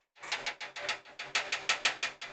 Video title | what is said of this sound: CecilKnight - Live PC Build - $500 PC build for business use | you can hear that noise just by tapping that fan